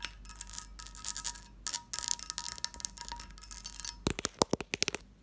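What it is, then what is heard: Textured cut-glass covered dish. Fingertips and long nails tap and scratch across the bumps of a medium, hollow, empty, lidded cut-glass dish with a textured surface. For about four seconds, dense bright clicking and rasping scratches come in uneven bursts, with a faint glassy ring underneath. A run of sharper, separate taps with crisp attacks and almost no ring follows.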